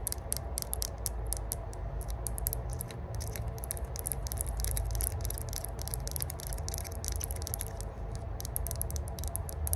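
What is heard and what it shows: A small hollow multi-section rose-gold metal herb grinder is held in the hands while long burgundy nails tap and scratch its ridged sides and lid. Rapid, dense clicks and bright scratchy ticks run continuously over a steady low rumble.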